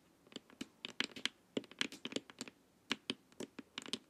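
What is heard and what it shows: Long nails tap the sides and top of a glossy, hollow plastic LED face mask in a rapid, uneven run of quiet taps. Each tap is a bright, dry click centered around 3 kHz, with almost no low end and virtually no ring after it.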